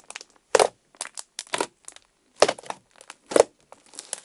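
Fingertips press and poke a pale orange, icy-textured slime resting on a table, leaving dents in its surface. Each press brings a short, dry burst of crisp crackling and crunching that stops almost at once. The bursts are bright, with a body centered around 470 Hz, and are spaced by brief silences across the clip.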